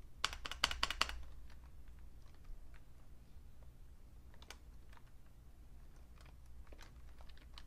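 A vintage beige Fujitsu Siemens full-size plastic keyboard with a hollow case is tapped with fingertips. A quick burst of sharp, bright key clicks comes first, followed by sparse, softer taps over a steady low hum.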